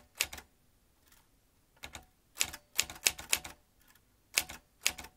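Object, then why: Metal manual typewriter keys and typebars. Fingertips type quickly on the keys of a vintage metal manual typewriter with a typebar basket. Irregular bursts of bright, sharp clacks come in quick clusters separated by short pauses, each strike snapping off with almost no ring.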